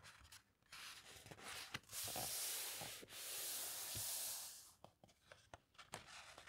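Fingertips and long nails rub and smooth across the heavyweight glossy paper pages of a large hardcover coffee table book lying open on a carpet, making two long, bright, hissing sweeps. Quick taps and light scratches follow as the pages are turned and let drop with a soft thud.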